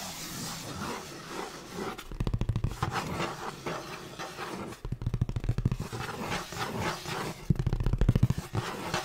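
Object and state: Cardboard box.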